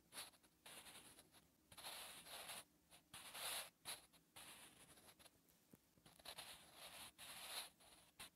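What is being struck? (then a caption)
Graphite pencil on a lined paper notebook page. A graphite pencil held in the fingers writes on a lined notebook page, making scratching strokes. Short bursts of dry, bright, hissy scratching come and go with brief quiet pauses between them, and there is almost no low end.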